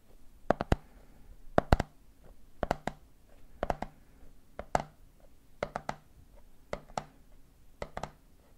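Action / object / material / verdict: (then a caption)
tap / plastic jar with plastic lid / plastic / none. Fingertips tap rhythmically on the top of the red plastic lid of a medium clear plastic jar full of peanuts. The short, dry taps come in eight quick groups of three, about one group per second, with a low hollow knock under each tap and quiet pauses between groups.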